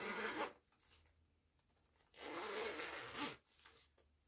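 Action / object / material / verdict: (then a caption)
scrape / small fabric pouch with nylon zipper / nylon / none. Fingers with long nails slide the pull of a purple nylon zipper on a small, soft printed fabric cosmetic pouch. Two separate bursts of bright, raspy zipping are heard: a short one at the start and a longer one about two seconds later, with near silence between them.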